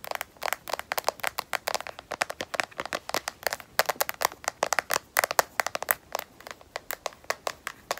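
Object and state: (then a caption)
Phone in plastic case, solid. A smartphone in a solid black rubberized, matte plastic case is tapped on its edge with long nails. Around 43 quick, dry clicking taps come in an uneven, rapid rhythm. Each is sharp and bright with almost no low end and dies away instantly.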